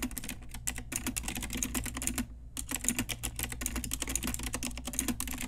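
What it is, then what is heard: Plastic mechanical keyboard being typed on. Fast, steady typing on an Ajazz pink retro typewriter-style mechanical keyboard with round plastic keycaps, struck with long nails and fingertips. Bright, clacky plastic key clicks patter densely over a low hum, with a short pause just past two seconds before the typing picks up again.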